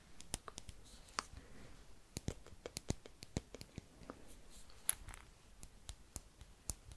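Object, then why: Small glass jar filled with hard beads. A small clear glass jar with a cork stopper, filled with small hard yellow and white beads or pebbles, is held in fingers with long nails and shaken or tilted. The contents clink against the glass in a quiet, irregular series of about two dozen sharp, bright clicks, each dying away almost instantly over a soft rustling background.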